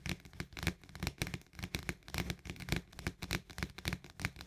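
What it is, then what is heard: Plastic lid of a paperboard canister. Fast tapping with nails and fingertips on the rim of the green plastic lid of an Orzo Bimbo paperboard canister. The taps come as quick, uneven bursts of dry clicks, each with a low hollow thump under a bright crackly edge that dies away almost at once.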